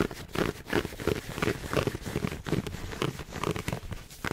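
A hollow red heart-shaped gift box, covered in pleated satin fabric with a gem in the center, is held in both hands in front of a mic and scratched and rubbed along its pleats with fingertips and nails. Quick, irregular strokes follow one another rapidly, giving dry scratchy crinkles and rasps over a soft, hollow mid-range body. Each stroke dies away almost at once.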